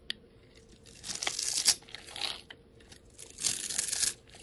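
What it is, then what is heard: Soap bar being scraped. A steel utility knife blade scrapes across a solid hand-held bar of soap whose pink, blue and green surface is scored into small cubes, shaving off crumbly pieces. A brief sharp click is followed by two longer bursts of bright, gritty scraping and crunching with a quieter scrape between them. The sound is almost entirely high-pitched with no low end.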